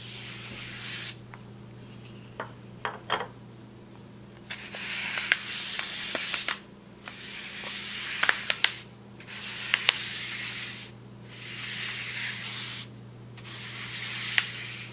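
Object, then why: Brown kraft paper bag brushed with a paintbrush. A thin wooden-handled paintbrush is brushed over a large, flat brown kraft paper bag. It makes repeated bright, hissy swishes lasting a second or two each, separated by short pauses and dotted with sharp papery crackles and ticks. A faint steady low hum runs underneath throughout.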